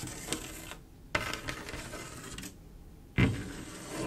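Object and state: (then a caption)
Mirror glass mosaic tiles, tapped and scratched. Long acrylic nails tap and scratch along the rows of a flat panel of silver mirror-glass mosaic tiles with grout. Sharp, clicky taps stand out over a continuous bright, gritty scraping. The scratching briefly drops to near-quiet in two short pauses before a final, louder tap lands.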